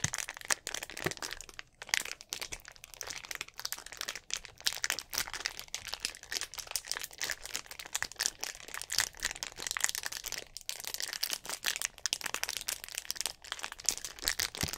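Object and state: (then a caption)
Plastic drink bottle being crinkled. A clear, hollow, mostly empty plastic drink bottle with an orange cap is held upright in both hands while the fingers squeeze and crinkle it. The result is a steady stream of bright, sharp crackles and crunches with almost no low end and no ring, running the whole clip with only brief pauses.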